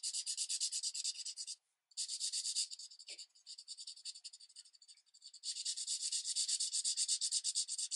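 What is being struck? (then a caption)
Felt-tip marker on thin paper. A broad-tip green marker is rubbed quickly back and forth across a thin paper coloring page resting on a light pad, making rapid, rhythmic, high scratchy strokes with almost no low end. The strokes stop briefly, return, thin out into softer, sparser scratches through the middle, then resume at a steady, brisk pace to the end.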